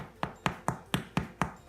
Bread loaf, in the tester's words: turn it over and see if it sounds Hollow